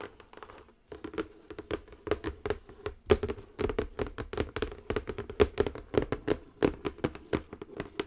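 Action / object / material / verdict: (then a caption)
tap / cardboard box / cardboard / none. Long acrylic nails tap the top and edges of a square cardboard zen garden box in a quick, continuous run of short, dry clicks. A hollow, boxy ring sits under the taps, with a few brief pauses and a slight crinkly rustle.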